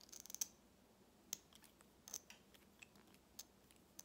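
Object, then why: Plastic lip gloss tube with metal cap. A small lip gloss tube, with a hollow plastic body filled with red gloss and a shiny metallic cap, is held while fingernails tap and scratch it. About nine quiet, sharp, bright clicks and short scratches are heard, dying away almost instantly, with a high tick standing out and almost no low end.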